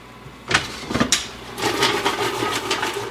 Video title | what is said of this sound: Healthy Easy Air Fryer Fries You’ll Actually Crave | just by the sound, when I shake the pan, I can tell that these are not quite done yet, but they're getting pretty close